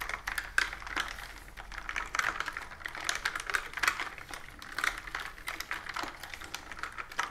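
Fingertips and long nails type rapidly on a pastel plastic mechanical keyboard with round typewriter-style keys and a hollow body, resting on a wooden table. Dense, quick clicky keystrokes with a bright, hollow plastic clack and very short ring run continuously, with occasional louder strikes.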